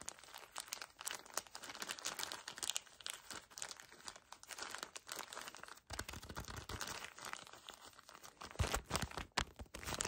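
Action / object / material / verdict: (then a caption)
scrape / paper tissue pack in thin plastic wrapper / plastic film / none. A pocket tissue pack in crinkly plastic wrap is squeezed and rubbed close-up by fingertips and nails. Dense, bright crinkling and crunching continues throughout, with quick sharp rustles. After about six seconds, heavier low-end grip noise joins in.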